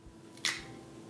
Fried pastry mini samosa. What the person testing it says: See how good the sound is and how crispy they are